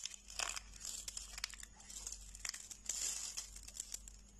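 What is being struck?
Dried soap flakes.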